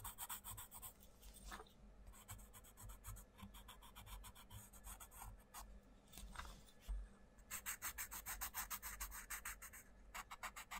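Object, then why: Wooden coloured pencil on paper page. A wooden coloured pencil makes rapid rubbing, scratching strokes across the paper page of an open colouring book on a wooden desk, while the other hand holds the book open. The strokes come in fast bursts of bright, papery rasping, busiest at the start and again in the last few seconds, with quieter, softer shading in between over a steady low hum.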